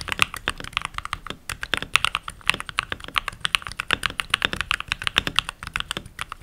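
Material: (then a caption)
Plastic. Fingertips with short nails and rings on the fingers type continuously on a full-size backlit mechanical keyboard with pink plastic keycaps. About 47 rapid, bright plastic clacks are heard, each dry and very short with no ring, centered near 2.6 kHz, with almost no low end.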